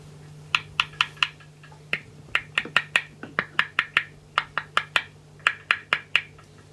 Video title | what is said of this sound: 003_【修理どうでしょう】ダンカンP.U セス・ラバーモデル(SH-55) ピックアップカバーとピックアップ本体との間に・・・・・・！？ | you'll notice that it makes a clicking sound